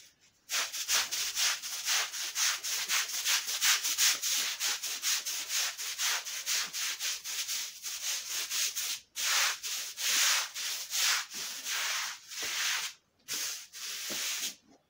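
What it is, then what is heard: Wet woven rug being scrubbed. A long-handled bristle floor brush scrubs a flat, thin, patterned woven fabric rug, soapy and wet, on a concrete floor in back-and-forth strokes. Rapid, bright, hissing scrub strokes run almost continuously, pausing briefly near 9 and 13 seconds, after which the strokes come slower and more separated.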